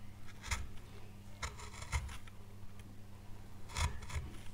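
A gouge rasps and scrapes across the oak leaf carved into a small, solid, pale wood carving board. Short, bright, scratchy strokes come in bursts over a steady low hum.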